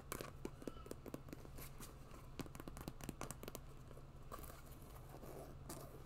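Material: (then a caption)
Synthetic leather. Long nails scratch and tap an empty white quilted synthetic leather boot with a fur cuff and pompom laces. Many short, dry clicks and scrapes come in quick succession over a steady low hum.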